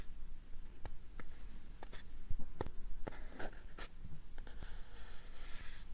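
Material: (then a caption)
Cardboard. A small, hollow brown kraft cardboard box is held close to the microphone and scratched with fingernails across its surface. A series of short, dry scratching strokes and soft scraping rise over a steady low background hum.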